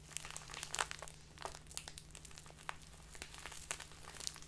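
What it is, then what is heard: Crinkly plastic bag of loose tea. A small clear plastic bag filled with loose tea is held in both hands and squeezed and folded with fingertips and long nails. It gives off quick, bright crinkles and crackles in an irregular stream, over a faint steady low hum.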